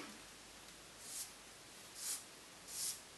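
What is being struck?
Nothing is struck.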